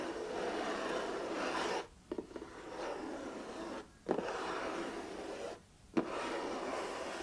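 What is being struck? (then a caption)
Cardboard puzzle box. Fingertips and nails rub across the printed lid of a closed, medium-size, hollow 500-piece jigsaw puzzle box made of printed cardboard, lying on a cardboard sheet. Steady dry scratchy rubbing runs in long strokes separated by brief pauses. Four sharp taps land at the start of each new stroke.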